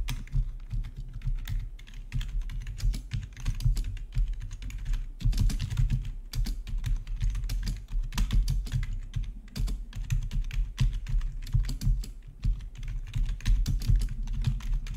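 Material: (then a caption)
Plastic. Fingertips type steadily on a full-size black plastic RGB backlit membrane gaming keyboard with a hollow body. The result is a continuous stream of quick, soft key taps, each a low, hollow thud topped by a brief bright click that dies away fast, with no pauses across the whole clip.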